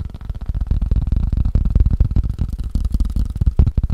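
A wood and rubber ping pong paddle is tapped quickly with the fingers, making a rapid, uneven stream of short, dull thuds. The taps sound deep and muffled, with almost no bright edge, and each one dies away almost instantly.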